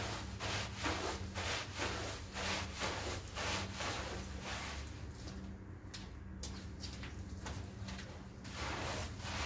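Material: Wool.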